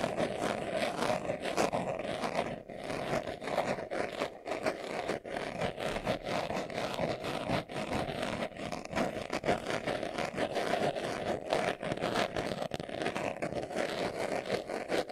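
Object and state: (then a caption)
Leather glasses case. Short nails scratch quickly across the surface of a small, hollow, brown pebbled leather glasses case held in both hands. The result is a dense, continuous, rough scratching texture with a strong midrange band and faint bright edges, and the rapid strokes blur together with barely any gaps.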